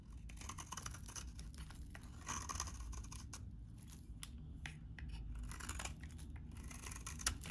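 A metal utility blade scrapes and cuts crumbly flakes from a solid, very dry beige bar of soap held in the hand. Quiet, dry scratching and crisp crunching repeat steadily throughout, with short bright snaps as pieces break away over a low, soft rumble.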